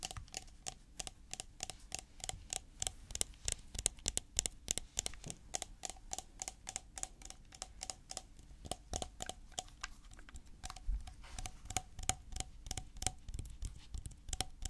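A white plastic coconut oil tub with a blue lid, filled with solid oil, is held in the hands and tapped with fingertips and nails. About 59 quick, dry, hollow taps and clicks come in an uneven, rapid rhythm, each dying away almost instantly, with a faint low rumble underneath.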